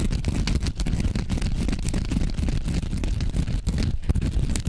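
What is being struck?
Foam sponge.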